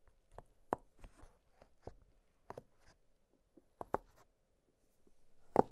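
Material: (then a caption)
Silicone. Fingertips press and pop the hollow bubbles of an octagonal blue silicone pop-it fidget toy lying flat on a glittery surface. A quiet, irregular series of short, soft, dull pops with a faint hollow tone sounds between near-silent gaps. The last pop is the loudest.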